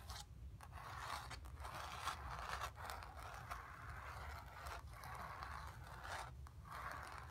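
Long nails scratch over a painted sphere on a painted cotton canvas, making a steady, dry scraping centred in the midrange around 1 kHz. The strokes come in rasping passes broken by brief pauses, over a constant low rumble.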